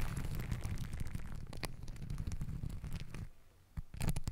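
Long nails and fingertips scratch and rub pink and green glittery fabric hair ties stacked around a microphone body. This produces a dense, low, rumbling rustle with scattered crackly scratches. It dips quieter near the end before a brief burst of louder scratching.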